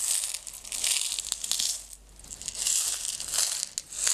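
A small clear plastic jar with a white screw lid, partly filled with small blue-green decorative stones, is held in hands with long red nails and shaken. The stones give a bright, dense, crinkly rattle almost entirely in the high range. It comes in two waves of shaking with a brief quieter pause near the middle.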